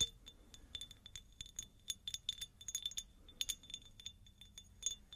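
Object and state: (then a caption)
Cut glass jar, empty. Long nails tap and scratch a hollow, empty, medium cut-crystal glass jar, producing a rapid, irregular run of short, bright clinks. Each clink carries a thin glassy ring near 3.5 kHz with higher overtones, and the taps die away almost instantly over a quiet scratchy background.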